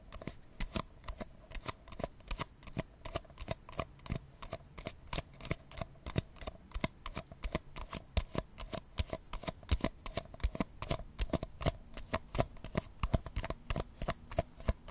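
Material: Paper.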